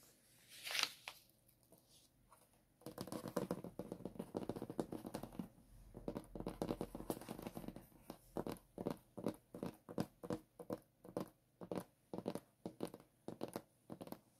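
Fingertips and short nails tap and scratch on a sheet of white paper clipped to a hardboard clipboard, with hands briefly holding the metal clip. A bright rustle comes first, then a few quiet seconds, then dense, crisp papery scratching. The clip ends with a steady run of separate dry taps with short, quickly fading decays.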